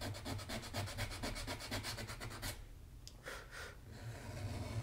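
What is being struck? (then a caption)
Leather shoe sole edge rubbed with sandpaper. A small piece of sandpaper is rubbed along the solid leather sole edge of a black Magnanni double monk-strap dress shoe, held upright by hand with a shoe tree inside. Quick, steady rasping scratches repeat about twice a second over a low rumble, then stop briefly before a few softer, brighter strokes follow.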